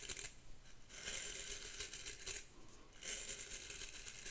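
Long pink acrylic nails scratch and flick across the nylon/natural bristles of a vintage ornate hairbrush with a metal back and handle, held close to the mic. The result is quiet, bright, crisp bristly rasps that come in bursts, with most of the energy in the high frequencies.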